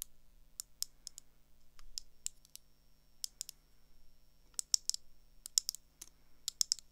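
Long acrylic nails tap the lenses and frame of a pair of thin gold metal round eyeglasses held in hand. The result is a quiet, irregular series of sharp, bright clicks that die away almost instantly, some in quick pairs and clusters, over a faint low hum.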